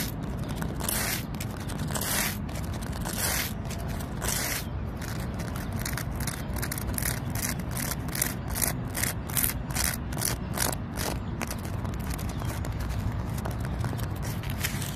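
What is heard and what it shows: Long pointed nails tap and scratch a large, solid tree trunk with rough bark. Repeated bright, dry scraping strokes come in quick bursts that grow denser through the middle of the clip. They sit over a steady low rumble.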